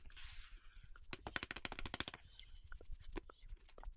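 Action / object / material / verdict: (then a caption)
tap / cardboard box / cardboard / none. Long fingernails scratch and tap along the sides and end of a long yellow cardboard parchment paper box. A soft, bright scratching opens the clip, followed by a quick run of dry, hollow taps and then a few sparser knocks. Each tap dies away almost instantly.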